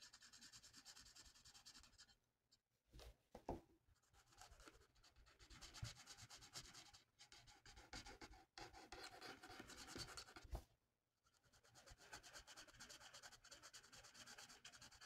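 A felt-tip marker is rubbed in fast strokes across a thin, flat paper coloring sheet, colouring in a mandala. It makes a continuous, bright, dry scratching hiss. Two short pauses break it up, around 2 and 11 seconds.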